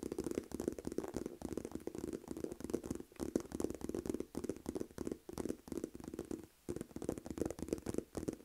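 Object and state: Faux leather purse, nail tapping and scratching.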